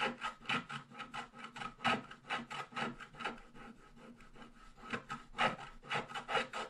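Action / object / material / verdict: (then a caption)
scrape / black-coated scratch-art paper scratched with a wooden stylus / coated paper / none. A wooden stylus scratches continuously over the lower right area of a flat black-coated scratch-art page, revealing the purple foil underneath. Dry, rasping scratch strokes repeat at an uneven pace of roughly two per second, with a bright papery hiss and almost no low end. Each stroke stops short with no ring.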